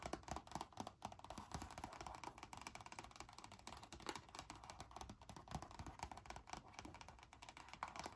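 An empty, frosted plastic reusable leakproof zip bag lies flat while long nails and fingertips scratch and rub across it. A dense, steady stream of quick, dry scratches and light clicky taps follows, crisp in the midrange with a soft crinkle. Each stroke stops at once with no ring.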